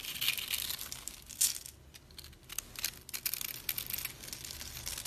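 A flat metal blade scrapes along a solid, elongated pink bar of dried soap held in a palm with purple nails, shaving curls off its surface. Bright, dry crackling and crunching scrapes come in quick bursts, with a quieter stretch near the middle before the shaving picks up again.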